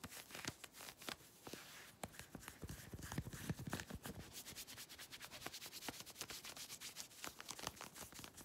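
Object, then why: Stretch synthetic fabric. Long red nails scratch and rub worn grey synthetic stretch leggings at the hip and thigh. The result is a quick, steady run of dry, bright scratching strokes that stop sharply with no ring, alongside softer rubbing swishes, all at a low level.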